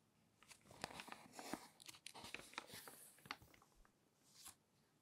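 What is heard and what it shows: Fingers flip and crinkle the pages of a thick, open glossy paper magazine. Soft, bright rustling is broken by quick, crisp crackles and snaps, with a swelling crinkle near the end before it fades to quiet.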